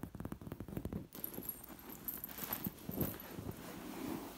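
A hand brushes and scratches across a sequined fabric pillow covered in metal sequin discs. A quick run of about fourteen rapid taps and scratches comes first, followed by a softer, continuous rubbing as the discs jingle with a faint high shimmer.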